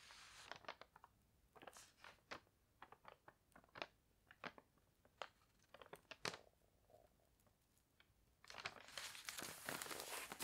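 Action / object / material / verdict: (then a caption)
scrape / paper newspaper page / paper / none. Fingertips rub and scratch along the page and lower edge of an open paper newspaper lying on a bed. Irregular, quick, bright crinkly scratches and dry rustles pop out over quiet gaps, with no lasting ring. Near the end they swell into a denser, continuous papery crinkling.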